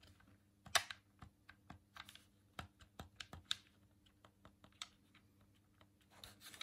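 A hollow white plastic Dreamcast controller is held in both hands while a thumb presses its face buttons and rubs over the plastic. About a dozen quick, dry, bright clicks sound out irregularly, each dying away almost instantly, with soft scratchy rubbing between them. A faint low hum runs steadily underneath.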